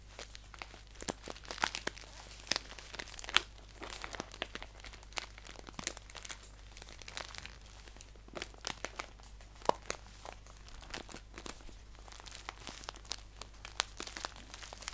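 A green paper tea pouch is handled and then laid flat while fingertips crinkle and scratch across it. The result is a quiet, dense stream of sharp, bright crinkles and scratchy crackles with very short decay, over a faint low steady hum.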